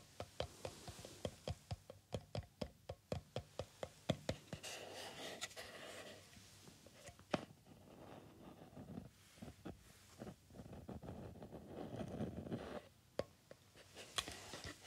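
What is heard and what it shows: A black and red Thermojet plastic supplement tub, about jar-sized and hollow, is held close to the ear and tapped with the fingertips. A quick run of short, dry, hollow taps opens the clip, then gives way to denser, scratchy rustling stretches broken by occasional sharper taps.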